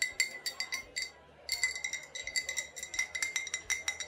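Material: Glass.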